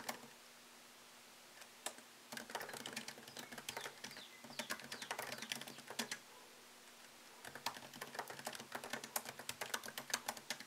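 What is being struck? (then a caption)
Laptop keyboard, plastic keys in aluminium body. Fingertips type on a MacBook Pro laptop keyboard with plastic keycaps set in an aluminium body. After a couple of isolated taps, fast, bright, dry clicks come in dense bursts, broken by a pause midway. A faint steady low hum sits underneath.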